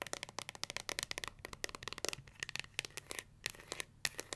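Long nails flick the black pins of a pink plastic paddle hair brush, then tap and scratch its smooth, hollow pink plastic back, which bears a gold S logo. The result is a rapid series of crisp, bright, dry clicks and ticks with almost no ring and very little low end.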